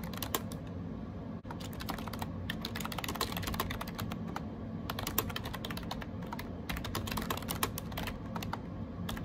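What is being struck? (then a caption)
Plastic keyboard with round keycaps. Fingertips type rapidly on a gray AJAZZ 308i wireless Bluetooth keyboard with round plastic keycaps. Quick, light clicks and taps run almost nonstop under a steady low hum, with a brief pause near 1.4 seconds. Each tap is short and bright with very little ring.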